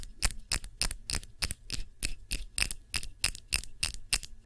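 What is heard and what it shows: Fingernails tap the sides and base of a clear glass tumbler holding red wax candle, with a label on its base. The taps come in a brisk, slightly uneven rhythm, each a short bright click that dies away almost at once, over a faint low hum.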